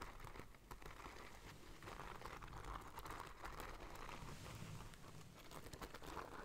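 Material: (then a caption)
Beads, fabric. Long nails scratch along the gold beaded fringe and braided border of a hollow black cloth bag. A soft, steady crinkly rasp of dense little clicks and patters runs throughout at a low, even level, with a low rumble underneath and a faint mid-range rattle from the beads.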